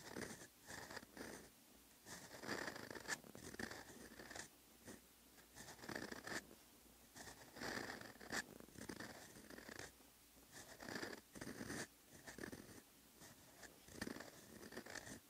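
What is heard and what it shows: A steel extra-fine fountain pen nib scratches across a flat, lined paper notebook page while writing Korean text. Bursts of dry, bright scratching come in short strokes separated by brief pauses, with a thin squeaky tone riding on some strokes.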